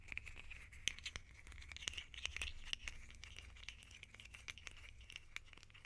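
A small, hollow red plastic lid held in the hands is scratched and tapped with long painted nails. It makes quiet, bright, dry clicks and scratchy rustles in a quick, uneven stream over a steady low hum.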